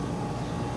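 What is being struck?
Nothing is struck.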